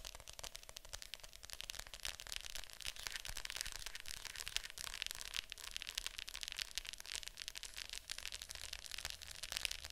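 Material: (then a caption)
Plastic. Long nails tap rapidly on the lid of a hollow plastic Fantasia VHS clamshell case lying flat. The taps come as a dense, continuous stream of quiet, bright, dry clicks that stop almost instantly, with little low end.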